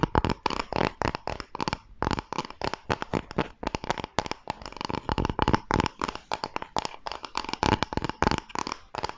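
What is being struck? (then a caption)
Thin plywood-like wooden board. Fingertips and nails scratch and rub the surface of a flat, thin, solid pale wooden board, plywood-like, held in both hands close to the microphone. A rapid run of short, dry, crackling scrapes comes in dense bursts with brief gaps between them. Each stroke has a low thump and a bright, grainy hiss.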